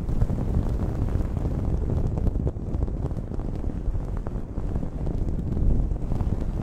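Long nails scratch a blue cotton terry cloth towel draped over a microphone. The result is a steady, dense, muffled rumble of rough scratching, concentrated in the deep low end with almost no high content, and the level dips briefly around the middle.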